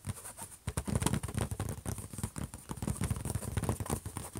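Fingertips and short nails of both hands tap and scratch a closed silver HP laptop lid. A rapid, uneven patter of dull, low-heavy taps mixes with brief scraping strokes, each sound dying away almost at once over a faint steady high hiss.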